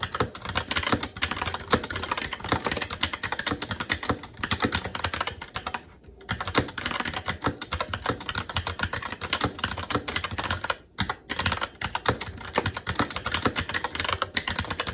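A SteelSeries Apex 7 TKL mechanical keyboard with plastic keycaps on a metal top plate and Red linear switches is typed on continuously and fast with the fingertips of both hands. Dense, rapid clicky-clacky keystrokes fill the clip, with brief pauses just after 6 seconds and around 11 seconds.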